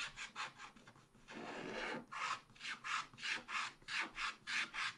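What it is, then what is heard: Scratch-art card being scraped. A wooden stylus scratches the sky area of a thin black wax-coated scratch-art card in a spiral pad with repeated strokes. About a dozen short, bright, raspy scrapes are heard, with one longer continuous scratch near the start, each stroke rising and fading quickly.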